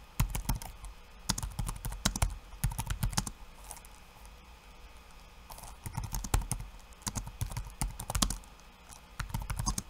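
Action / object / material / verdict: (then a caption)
tap / plastic laptop keyboard / plastic / none. Bare fingertips type rapid taps on a backlit laptop keyboard with plastic keycaps. Quick bursts of short, crisp clicks and clacks, each with a soft low thud, come in flurries separated by a brief quiet pause in the middle.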